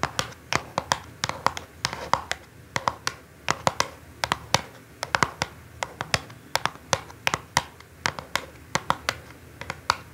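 Long acrylic nails tap and scratch the top of a small, hollow orange ALIVE cardboard perfume box lying on a dark cloth. Around forty quick, dry taps ring out as short, bright clicks centred near 1 kHz, with soft scratching between them. Each tap dies away almost instantly.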